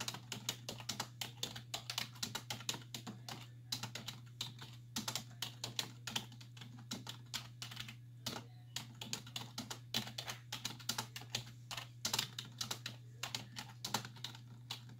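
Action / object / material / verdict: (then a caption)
tap / plastic computer keyboard / plastic / none. Long nails and fingertips tap rapidly on the hollow keys of a black plastic computer keyboard resting on a wooden desk. A dense, uneven stream of sharp, bright clicks runs over a steady low hum, each tap dying away almost instantly.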